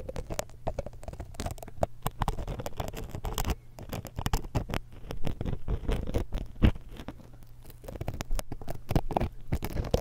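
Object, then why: Metal mesh microphone capsule grille. The hooked tip of a thin metal dental pick scrapes and taps across the metal mesh capsules of a small, hollow X-Y stereo microphone. The result is a dense, rapid patter of close, boomy scratches and clicks, heavy in low rumble with a steady low hum underneath. A few sharper, louder taps stand out.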